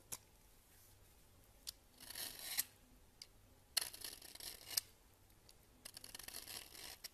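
A solid cream bar soap on a countertop is scraped with a red-handled peeler into fine shavings. Quiet, bright, hissy scraping strokes come in bursts, with sharp clicks at the start and end of each stroke.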